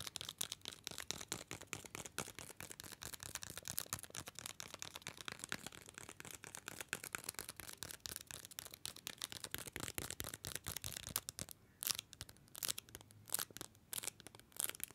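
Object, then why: Paper-wrapped mini chocolate bar. A small, solid, dark paper-wrapped mini chocolate bar is held upright in one hand and tapped rapidly with the fingernails of the other hand. The result is a dense stream of crisp, bright, papery clicks. Near the end the taps thin out into sparser, sharper hits.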